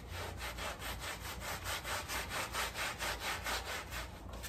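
A gloved hand scrubs a small, flat woven textile area rug, damp and dusted with cleaning powder, using a handheld scrub brush. Steady, rhythmic back-and-forth strokes make a bright, bristly rasping sound over a low background rumble.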